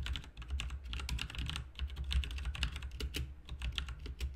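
Both hands type with their fingertips on a full-size, backlit plastic mechanical RGB keyboard with plastic keycaps. The result is a quick, uneven stream of bright, short keystroke clicks over a steady low hum.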